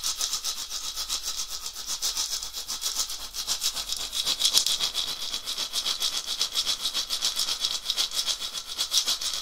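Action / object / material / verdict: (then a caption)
shake / dried gourd rattle with wooden handle / gourd / none. A round, hollow dried gourd rattle with an etched pattern on a wooden handle is shaken by hand in rhythmic strokes. It makes a steady, bright, hissing rattle that pulses about three to four times per second, with almost no low end and each burst dying away quickly.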